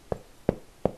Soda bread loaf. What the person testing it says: the real test of good soda bread is make sure that's hollow underneath